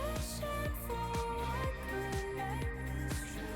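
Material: Nothing is struck.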